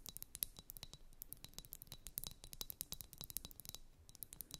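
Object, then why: Liquid-filled glass ice-globe wands. Long nails tap and scratch a pair of blue, liquid-filled glass facial ice-globe wands. The result is a quiet, rapid run of sharp, bright clicks with no ring, mixed with soft scratching and a faint steady high tone underneath.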